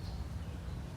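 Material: Nothing is struck.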